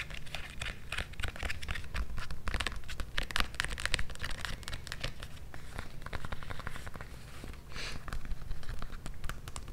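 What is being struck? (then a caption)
Synthetic leather strap sandal with foam sole. Long nails and fingertips tap and scratch the straps and sole of an empty, hand-held blue synthetic-leather strap sandal with a thick white foam/rubber sole and a tan footbed. A dense run of quick, dry clicks and crinkly scratches rides over a steady low thud-like body, with short bursts that fade almost instantly.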